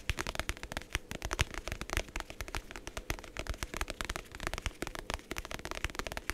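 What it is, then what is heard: Faux leather notebook cover tapped and scratched. Fingertips and nails quickly tap and scratch the faux leather cover of a medium navy hardcover journal, held closed in both hands. The result is a rapid, dense stream of short, dry taps with a low, muted thump and a scratchy crackle. Each tap dies out almost at once.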